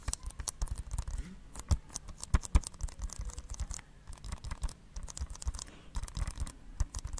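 Fingernails scratch a hollow blue plastic Blu-ray case held beside the microphone. The result is a dense run of dry, quick scratches and clicks with a hollow, low-heavy body and some bright crackle, separated by short pauses.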